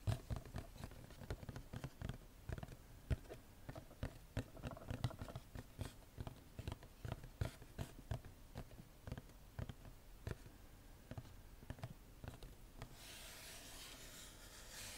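Long nails tap and scratch the printed face of a small, hollow cardboard gift box with a floral pattern, held upright. A quick, irregular run of dull, low, short taps plays over faint scratching. The clip ends with about two seconds of steady, brighter scraping.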